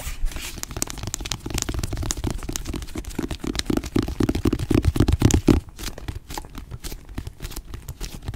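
Long nails tap and scratch the blue cloth cover and gilt illustrated panel of an antique hardcover book, "The Sea and its Wonders," held closed in both hands. A dense, uneven run of quick, dry taps and rough scratches, mostly low and thuddy with a faint bright rasp, goes on steadily before thinning into softer, sparser tapping near the end.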